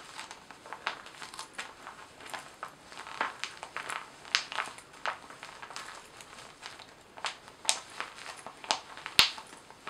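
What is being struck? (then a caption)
Laminated vinyl-coated fabric pouch. A small glossy paisley zippered cosmetic pouch made of laminated vinyl-coated fabric, hollow inside, is turned in the hands, scratched with long nails and squeezed so it crinkles. A quiet, irregular string of bright, dry crackles and scratchy rustles comes through, with a few sharper snaps and no low end.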